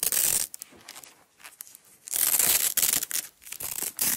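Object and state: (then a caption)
Nylon hook-and-loop strap being peeled apart. A small yellow nylon hook-and-loop (Velcro) strap, unrolled from a roll on a table, is peeled apart by long-nailed fingertips. Bright, scratchy ripping bursts come in uneven runs, with a long tear at the start and another near the middle, separated by quieter faint crackles and ticks. The tearing is almost entirely high and hissy, with very little low end.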